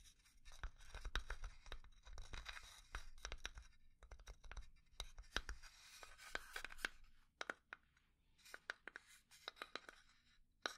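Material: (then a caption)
Pine wood. Fingernails quickly scratch and tap on a small hollow pine wood box. Bursts of dry, bright scratching alternate with sharp, short taps that die out almost instantly over a low hollow body tone. Toward the end the scratching thins out and isolated taps stand apart.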